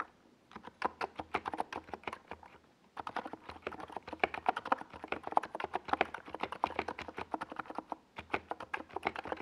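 Both hands type with their fingertips on a NiZ Plum Atom 68, a compact 68-key mechanical keyboard with a hollow white plastic case and purple and yellow plastic Domikey Gas Attack SA keycaps, resting on a desk pad. Quick, crisp keystrokes clack with a mid-pitched, slightly hollow tone and each one stops almost instantly. The typing runs in steady bursts, broken by short pauses near 3 seconds and again near 8 seconds.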